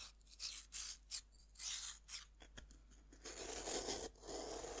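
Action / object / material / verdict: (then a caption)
scrape / pressed-powder bath bomb scraped with a metal knife / pressed powder / none. A metal knife scratches and scrapes grooves into a fist-sized, solid pink pressed-powder bath bomb held over a wooden board. Short, bright, gritty scraping strokes with quiet gaps give way to a longer, continuous rasping scrape that carries more low-mid body.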